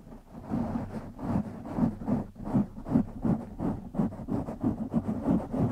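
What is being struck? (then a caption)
Foam microphone windscreen. Fingertips of both hands scratch the sides of a black foam windscreen on a silver microphone, producing about eleven uneven, dull scratching and rustling strokes in quick succession. The sound is muffled and bassy, centered in the low-mids, with almost no bright high end.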